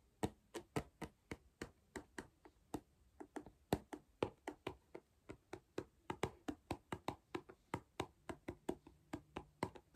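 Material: Cardboard.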